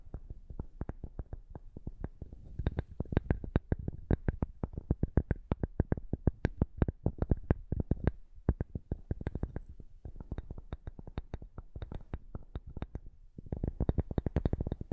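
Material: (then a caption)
Cork. Long nails and fingertips tap and scratch the surface of a solid, flat rectangular cork board held just above the microphone. The result is a fast, irregular run of short, dull, low thuds with almost no ring, interspersed with soft scratching. The tapping grows denser and busier toward the end.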